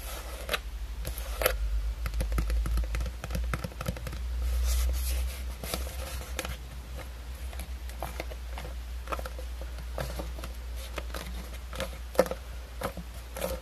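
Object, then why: Molded plastic skeleton hand. Long painted acrylic nails scratch and tap along the bony fingers and palm of a hand-sized, pale bone-colored plastic skeleton hand Halloween prop, likely hollow molded plastic. Quick, irregular dry clicks and light scraping rustles patter throughout over a steady low hum, with a few sharper taps standing out.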